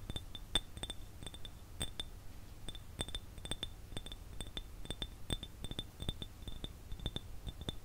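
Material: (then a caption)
Glass. An empty clear glass jar is tapped and scratched with fingernails, giving a quick run of short, bright clinks that ring near 3.5 kHz and die away almost at once. A faint scratchy texture and a steady low rumble sit underneath the taps throughout.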